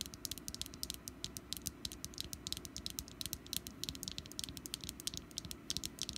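Long nails on both hands tap rapidly across the ribbed wax top of a small, solid orange wax pumpkin candle resting on a mat. The result is a quick, irregular string of dry, bright clicks that stop instantly with no ring, over a low, steady rumble underneath.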